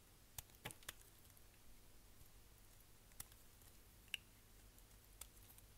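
A solid green striped dry glycerin soap bar, held in the fingers, is scraped with a utility knife blade so thin shavings peel off. Six short, crisp, bright scraping clicks stand out over a quiet, low steady hum: three close together near the start, then three more spaced out.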